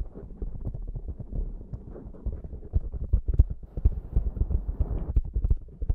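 Fingertips and long nails of both hands rub and scratch a black foam windscreen on a Zoom microphone. The result is a dense stream of soft, low thumps and muffled scratching, with almost no high content.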